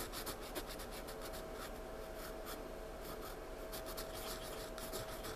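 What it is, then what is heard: Pencil shading on a sketchbook page. A wooden pencil tip, held in the fingertips, scratches short, rapid shading strokes across a paper sketchbook page. The result is a steady, soft run of dry, bright scratching that pulses with the quick back-and-forth of the strokes and has a faint hum underneath.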